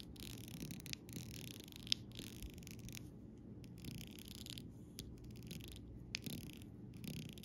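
The rounded tip of a copper-coloured metal stylus taps and traces over an acrylic rhinestone sticker sheet, a thin, solid, flat sheet of small multicoloured rainbow rhinestones and larger clear gems on clear plastic backing lying on grey fabric. The sound is quiet, with soft scraping, rubbing bursts of bright hiss over a low rumble and a few sharp, short clicks.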